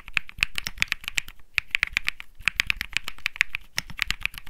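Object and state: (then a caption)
Mechanical keyboard typing. Fast two-handed typing on a cream-white Think 6.5, a 65% mechanical keyboard with Bsun Lollipop switches, light plastic keycaps and a small lit display, sitting on a felt desk mat. A quick, uneven run of crisp, clicky keystrokes with a bright tone centered around 2 kHz, a light low thud under each press, and almost no ring between strokes.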